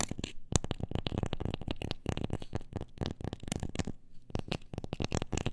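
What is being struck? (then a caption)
Wooden object. A wooden object is tapped in a quick, dense run of short, dry knocks with almost no ring. The taps have a low, hollow body centred near 100 Hz, with a faint scratchy edge on top.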